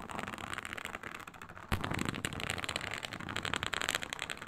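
Long pointed nails scratch across a flat, iridescent faux snakeskin mat of embossed reptile-pattern synthetic leather. The result is a dense, bright, crackly scraping texture with quick rasping strokes. A sharper, louder scrape comes in partway through, and the scratching is busier toward the end.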